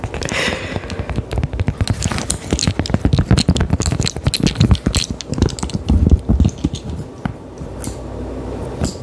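A small, round, thin, solid cork coaster held in the hand is tapped and scratched with long decorated acrylic nails. The result is a dense, rapid stream of dull, soft clicks and rough scratching that is mostly low in tone with little ring. A few brighter, sharper ticks stand out, and the activity thins toward the end.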